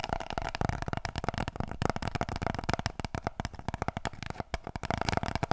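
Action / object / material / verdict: tap / cardboard kitchen roll tube / cardboard / none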